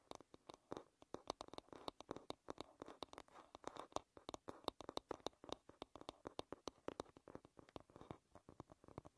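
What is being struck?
Wooden hairbrush.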